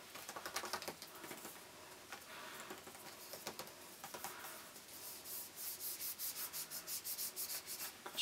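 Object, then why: Printed cardboard gift box. Fingertips rub and scratch across the printed surface of a hand-sized, hollow N7 cardboard cosmetics gift box. Soft, hissy, high-pitched scratching comes first in irregular strokes. It then settles into a steady, rapid back-and-forth rhythm of brisk rasping strokes, all quiet and dry with almost no low end.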